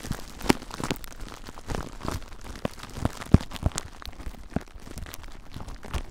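Fingers squeeze and scratch clear plastic bubble wrap wrapped around a recorder. Close-up crinkling and rustling run through the clip, with irregular sharp crackles and snaps over a dense, low-heavy rustle.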